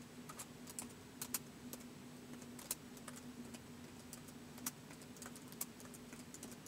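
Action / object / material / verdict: tap / plastic laptop keyboard / plastic / none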